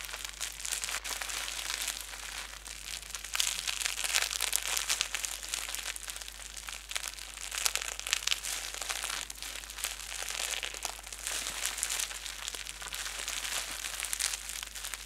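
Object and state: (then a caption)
Plastic bubble wrap being crumpled. Clear plastic bubble wrap is balled up around the microphone, held in both hands and squeezed and crumpled by fingertips and thumbs with painted nails. A dense, continuous crinkling runs for the full fifteen seconds, bright and crackly with almost no low end, swelling and easing in loudness as the wrap is worked.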